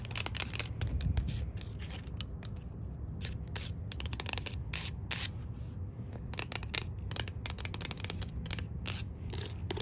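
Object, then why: Painted wooden porch handrail. Long nails scratch and tap along the white-painted, solid wooden top rail of a porch handrail. Quick, bright scratchy strokes and light taps come in bursts throughout, over a steady low rumble underneath. Each sound is dry and short, with almost no ring.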